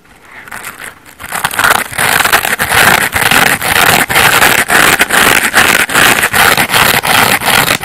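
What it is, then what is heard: Foam bath sponge being scratched. Long painted nails scratch the coarse yellow textured face of a hand-sized layered foam bath sponge (yellow, orange and blue layers of solid porous foam) held in one hand. Quiet, crackly rasping builds over the first second and a half into a steady, rhythmic run of bright, dry scratching strokes, each separated by a brief dip, with almost no low end.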